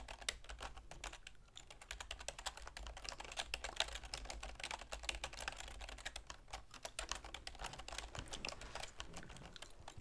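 A full-size black plastic keyboard with a silver plastic frame sits on a wooden desk and is typed on with long manicured fingernails and fingertips. The result is a steady stream of rapid, crisp, bright key taps with short clicks and a soft low thud under each press.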